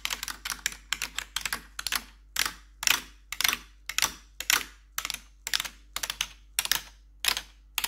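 Long pointed metal nail claws worn over blue gloves tap and scratch across the keys of a black plastic RGB backlit computer keyboard. Bright, sharp clicks and clatter come in quick irregular clusters with brief scraping between them. Each click dies away almost instantly over a faint low hum.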